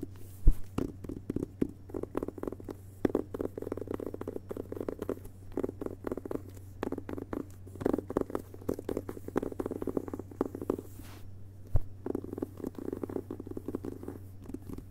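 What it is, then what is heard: Hardcover book with paper dust jacket. Fingertips of both hands tap and scratch the front cover of a hardcover book with a glossy paper dust jacket lying flat on carpet. The result is a dense stream of soft, muted taps mixed with light papery scratching, all over a steady low hum.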